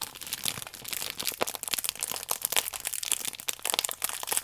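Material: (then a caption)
Plastic film. Fingertips and long nails squeeze and scratch a plastic-film-wrapped stack of paper baking powder sachets, making it crinkle. A continuous run of bright, crisp crackles and crunchy rustles with sharp little snaps, almost no low end, and quick decay.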